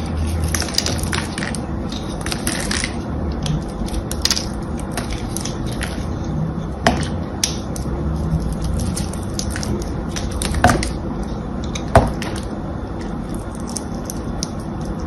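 A small metal blade scores and scratches the green and blue coated surface of a solid, hand-sized bar of soap held in one hand. It makes a steady run of crisp crushing and scraping sounds over a low, rumbling bed. A few sharper, louder scrapes stand out near the middle and end.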